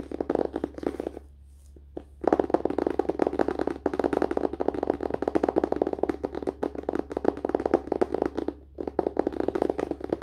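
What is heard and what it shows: Fingertips and short nails of both hands tap quickly on the glossy cardboard front cover of a closed hardcover paper-and-cardboard book resting on a lap. The taps are dry, hollow clicks centered in the low mids, forming dense rapid bursts with brief pauses near 1.5 and 8.7 seconds, over a steady low hum.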